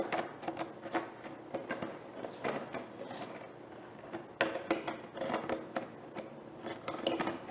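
A large, clear, thin plastic gallon water jug with a handle, hollow and nearly empty, is held and tapped or scratched with long painted nails and fingertips. The result is a quick, irregular run of light, hollow clicks and taps with a short resonant ring around 336 Hz, mixed with soft scratching between the hits.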